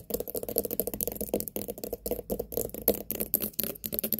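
Long nails rapidly tap and scratch the rind of a large, whole white pumpkin with a sticker label. The result is a fast, uneven run of dry, clicky taps mixed with short scratches, each dying away almost instantly with a mid-range tone.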